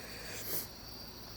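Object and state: Nothing is struck.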